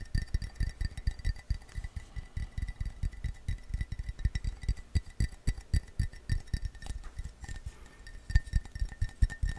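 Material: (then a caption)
Ceramic. An empty, hollow blue glazed ceramic coffee mug is held in the hand and tapped rapidly with fingertips and nails for about ten seconds. The taps give a steady stream of short, ringing clinks with a dull, low thump under each one.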